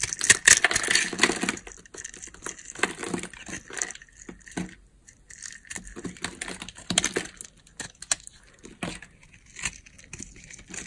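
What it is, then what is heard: Dry bar soap being scraped. A utility knife blade scrapes a solid rectangular bar of dry, pale yellow soap with a grid-scored surface, held in the palm. Crisp, bright, crumbly scraping strokes come in irregular bursts, loudest at the start and then quieter with short pauses between strokes.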